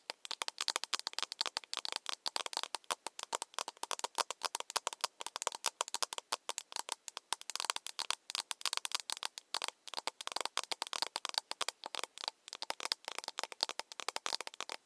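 Long nails tap rapidly on the side of a small, empty, hollow plastic cup, making a dense run of quick, dry clicks. The taps are bright and thin, with no low end, and each one dies away almost instantly. They come in uneven bursts with brief pauses throughout.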